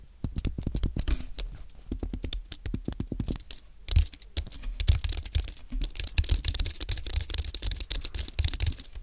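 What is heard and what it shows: Both hands type with their fingertips on a compact white Apple Magic Keyboard, with an aluminium base and low-profile plastic keys, resting on a white desk. It produces a rapid, steady stream of short, dry taps with a soft low thud beneath each keystroke. The clatter grows brighter and busier in the second half, and each tap dies away almost instantly.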